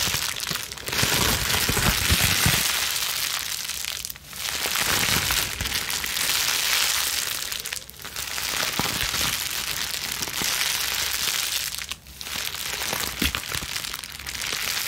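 A plastic bubble wrap sheet, balled in both hands, is squeezed and scrunched with long nails. A dense, steady stream of bright crinkling and crackling runs throughout, dropping briefly into quiet lulls about every four seconds before resuming.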